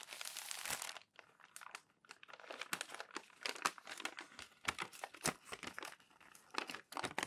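Thin glossy magazine sheets on a stack are pressed and rubbed flat with the palms while fingers fold the pages over. The result is a steady run of bright, dry crinkling and crackling bursts with almost no low end, each snapping off quickly between brief quiet gaps.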